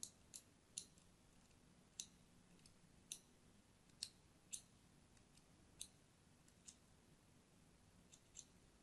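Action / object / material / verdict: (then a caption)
scrape / solid soap bar scored with a thin metal blade / soap / none. A thin metal blade scores crosshatch lines into the surface of a pink and white striped solid soap bar held in hand. Each stroke makes a short, crisp, bright click that dies away almost instantly, spaced irregularly over a faint, steady low background hum. The overall level is quiet.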